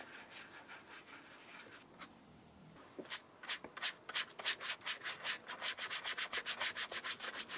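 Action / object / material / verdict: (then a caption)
scrape / leather shoe with a brush / leather / none. Wax is rubbed into the toe and side of a brown Aurora Shoe & Co "Middle English" leather shoe with a rubber sole, using a wooden dauber brush. Soft, steady rubbing gives way to quick, bright brushing strokes that grow faster and more distinct, each a short, hissy swipe.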